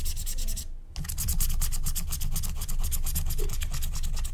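A wooden stylus scratches line strokes near the edge of a flat, thin, black-coated scratch-art card of wax-coated paper. Rapid, repeated scratchy strokes run steadily with a brief pause near the one-second mark, each stroke giving bright, papery rasps over a low rumbling undertone.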